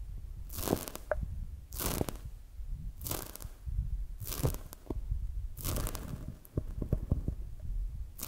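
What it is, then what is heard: Foam squishy donut toy. A palm-sized, soft, solid polyurethane foam squishy donut toy is held in both hands, squeezed and touched with fingertips and long acrylic nails. Repeated bright, airy crinkling and crunching squeezes sound over a low, soft rumble, with small sharp clicks and taps between them.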